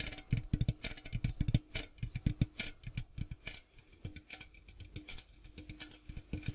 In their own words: ASMR Tapping Sounds on Popcorn Box